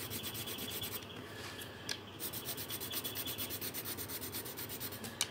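A pink pencil or marker is rubbed quickly back and forth across a thin paper colouring sheet resting on a table. It makes a steady, bright, scratchy rasp of rapid strokes, with a brief lighter stretch near the two-second mark. Sharp little ticks come around two seconds and again near the end.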